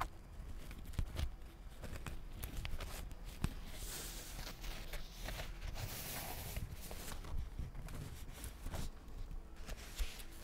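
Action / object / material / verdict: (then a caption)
tap / paperback book with glossy cardboard cover / cardboard / none. Long acrylic nails tap rapidly on the glossy cardboard cover of a solid purple paperback book held close to the mic. The taps are quick, dry and bass-heavy with almost no ring, over a steady low rumble, and a brighter scratchy rustle swells through the middle of the clip.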